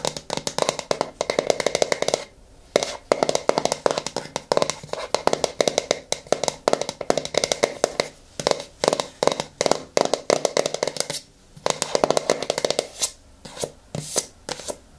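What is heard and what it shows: A yellow plastic hair mask jar is held on its side while long nails tap and scratch across the face and rim of its lid. Quick, dry, hollow clicks come in rapid bursts, with brief pauses between them. Scratchy, bright rasps also sit over a mid-range plastic tone with almost no low end and no ring after each tap.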